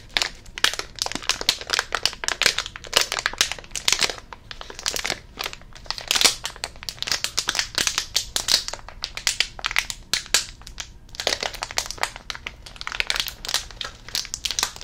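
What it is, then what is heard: Plastic candy bag being crinkled. A small printed plastic snack bag labelled "Fudge Classic," filled with candies, is held in both hands and crinkled and squeezed with the fingers. Dense, bright, crackling crinkles come in quick bursts with short pauses between them, with almost no low end. Each crackle stops sharply with no ring.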